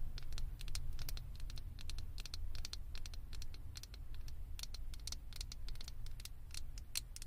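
Long acrylic fingernail tips tap rapidly on the top and sides of a small, hollow, blue plastic Stitch figure head fitted on a microphone. The result is a steady patter of sharp, bright, dry clicks with no ring, over a constant low hum.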